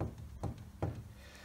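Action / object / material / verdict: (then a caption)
knock / steel gear on bearings and shaft / steel / loose. Three dull, low knocks with a quick decay come from a steel intermediate gear and shaft assembly, on its bearings with the spacer fitted, being knocked in a Land Rover transfer box during an Ashcroft ATB centre diff fitting. The knocks reveal some end float (play) in the assembly before its preload is measured.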